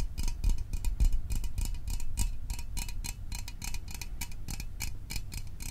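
A small, hollow metal Fanta orange soda can is held in the hands and tapped with fingertips and fingernails. The result is a quick, uneven stream of light, bright clicking taps with a faint metallic ring over a soft low rumble.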